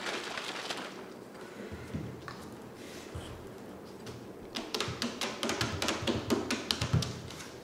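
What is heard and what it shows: Long painted fingernails tap across a clear plastic "hello" drink bottle with pink contents, first held and then laid on its side on the table. Soft handling and faint thuds give way to a rapid run of sharp, bright plastic taps that die away quickly.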